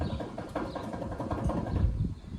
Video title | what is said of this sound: Whats Wrong With My Front End??? | if I shake it up and down, you can hear all the noise that it's making, and that would indicate my wheel bearing has gone bad